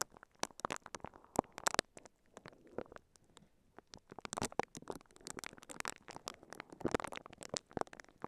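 The bristles of a pink silicone scalp massager, held in both hands, brush and scratch a microphone covered in clear, crinkly plastic wrap. The result is a dense patter of sharp, dry crinkles and scratches with bright hiss, thinning to quieter rustling for a couple of seconds before building back into busy crackling.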